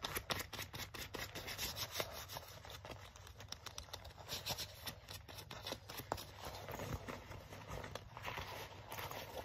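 Fingertips and nails scratch and rub the sleeve and front panel of a black leather jacket being worn. The result is a quiet, steady run of dry, crackling scratches and sharp little ticks over a faint low hum.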